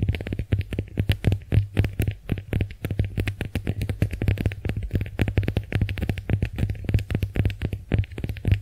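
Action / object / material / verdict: scrape / konjac sponge scratched with fingernails / konjac / none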